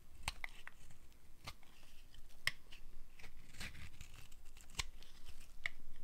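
A small metal blade cuts and scrapes slices off a solid, red striped dry soap bar held in the palm. The result is a series of dry, crisp crackling and scraping snaps with sharp, bright edges and brief ring near 2 kHz over a low, steady background.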